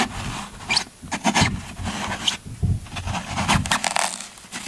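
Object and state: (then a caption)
Floral foam block being scraped. A yellow-handled metal scraper scrapes and carves the end of a solid green floral foam brick held in one hand. It makes a series of dry, crunchy, crackling scrapes with bright, hissy texture, each burst cutting off quickly into short gaps.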